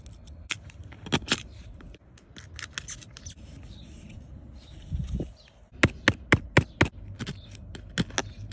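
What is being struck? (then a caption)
Plaster block scraped with a plastic tool. A purple plastic tool scrapes and chisels at the white plaster inside a partly dug-out, solid gold-painted plaster "Fairy Door" block in a cardboard tray, while fingers hold the block steady. Irregular sharp, bright ticks and crunchy chips, roughly two a second, stand out over a low, gritty scraping bed, with a brief muffled thump near the middle.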